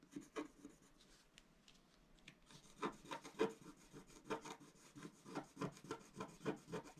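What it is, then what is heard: Scratch-art paper sheet. A pointed wooden stylus held in the fingers scratches across a flat, A4-size black-coated scratch-art sheet over rainbow foil, lying on a table. Quiet, dry scraping strokes come in short, uneven bursts. Each has a brief rasping attack and almost no ring.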